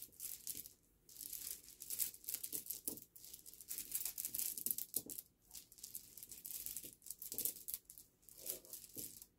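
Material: Stone.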